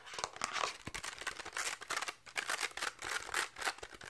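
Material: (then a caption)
Velcro fabric. A plastic toy catch paddle with a purple and orange velcro/felt face inside a pink plastic rim is held face-on in both hands while fingertips and nails quickly scratch and tap the fabric. The result is a rapid run of dry, bright, scratchy rasps and soft taps with a crinkly, tearing texture and almost no low end. Each burst dies away almost immediately.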